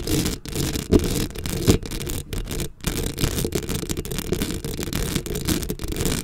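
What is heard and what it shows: Long acrylic nails on both hands scratch the black metal mesh head of a microphone up close. The result is a steady, dense rasping scrape heavy in low rumble, with a thin hiss above it, brief dips, and a couple of louder scrapes near the start.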